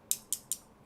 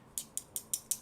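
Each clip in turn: First: metal earphone faceplate. Second: plastic earphone faceplate.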